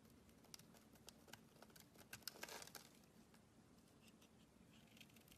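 A metal blade carves and scrapes shavings from the surface of a solid oval green bar of soap held in the palm. Quiet, bright scraping is broken by crisp little clicks as the blade bites, with a denser rasping stretch just past the middle over a faint low hum. It then settles back into soft, sparse scratches.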